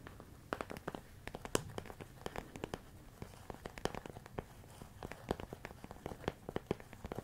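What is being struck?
Plastic storage container of rice.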